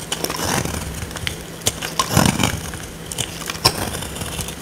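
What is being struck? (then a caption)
Bar of soap scraped with a small metal blade. A small metal blade carves and scrapes a dry, solid oval purple soap bar held in the hand of a woman with long nails, and shavings flake off. Crisp, crackling scrapes and bright snaps sound over a faint low hum, with a few sharper cuts standing out.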